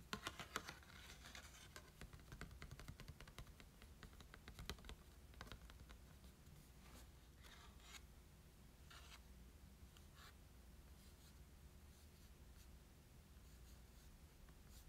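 A small printed Volcanion promo card made of glossy cardstock, held in both hands, is tapped and scratched by short nails. Quiet, crisp ticks and dry scratchy strokes come thick and fast for the first five seconds, then thin out to occasional brushes over a steady low hum.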